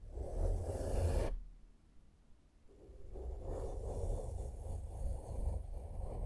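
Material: Nothing is struck.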